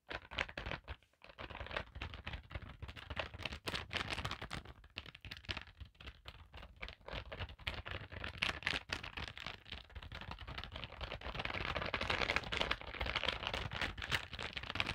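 Fingertips and long nails tap and scratch over a filled holographic plastic zip pouch resting on a table, working at the card area. The result is a dense, irregular stream of quick, bright crinkling taps and scrapes with soft low thumps underneath, growing busier and louder toward the end.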